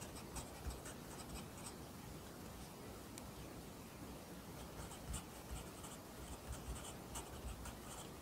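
A pencil writes Korean handwriting on an open lined paper notebook, the graphite scratching steadily across the paper. The quiet, continuous scratch has brief bright ticks from pen-stroke contacts over a soft low rumble.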